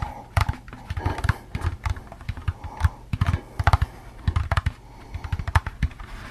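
A hollow, empty orange plastic jack-o'-lantern candy bucket with a handle is tapped and scratched with fingertips and nails while being turned in the hands. It gives a rapid, uneven series of short, dull, low hollow knocks that die away almost instantly. Light scratchy rasps run between the taps.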